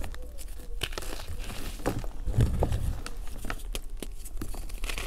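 Bare fingers with short painted nails crush and crumble chunks of a solid, brittle pink and blue dried gym chalk and cornstarch mudpie in a container into powder. Dense crunching and crinkling crackles sit over a steady low rumble, with brief bright snaps throughout.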